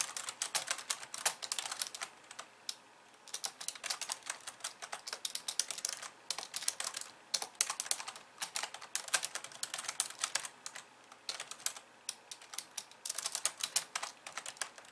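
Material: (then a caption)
Plastic. Long nails and fingertips type fast with both hands on a pink plastic computer keyboard with white keys. The result is a dense stream of bright, sharp clicks and taps with almost no low end and very short decay, coming in quick bursts separated by brief pauses.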